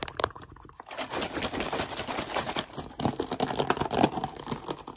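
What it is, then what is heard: Empty plastic water bottle. An empty, partly crushed clear Brecon Carreg plastic water bottle, about 500 ml and hollow, is squeezed, crinkled and tapped with short decorated nails and fingertips. Dense, rapid crackling and crinkling comes with short, dry clicks that die away almost instantly. The sound dips briefly just before one second and grows louder and busier from about three seconds on.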